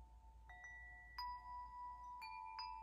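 Long hollow metal wind chime tubes hang from one hand and are swung so the striker hits them four times. Each strike rings out as a clear, sustained metallic tone around 1 kHz, with bright high overtones layering over the previous notes as they keep sounding.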